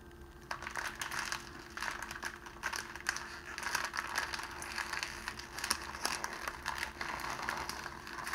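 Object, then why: Clear cellophane wrapping sheet. A rolled sheet of thin, clear cellophane, hollow in the middle, is twisted and crumpled between the fingers of both hands while a rose lies untouched to the side. Dense, bright crinkling and crackling comes in bursts for about eight seconds, over a faint steady low hum.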